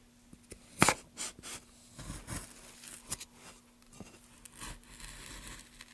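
Gloved hands push a gouge along the grain of a solid, light wooden plank, carving it. The result is a series of short, dry, bright scraping and tearing strokes, the loudest near the start, over a faint steady low hum.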